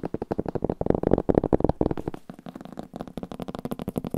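An old paper book is tapped in a quick, steady run of about two dozen short, dull taps. The taps have a soft low-mid thump with almost no ring. Midway through they become slightly quieter and thinner with a faint bright click.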